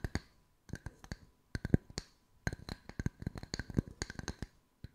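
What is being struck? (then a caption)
Wooden slice coasters. Long white nails tap the flat surfaces of a pair of identical solid round wood slice coasters with bark edges, one held in each hand. About two dozen short, dry wooden taps land in quick irregular bursts separated by brief pauses. Each tap has a low woody knock with a bright clicky edge and almost no ring.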